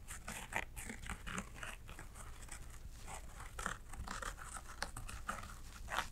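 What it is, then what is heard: Embroidered fabric bag. Long acrylic nails scratch across a small embroidered fabric shoulder bag with thick thread embroidery. The result is a quiet series of dry, crisp scratching and rustling strokes, some brighter and sharper than others, over a faint low rumble.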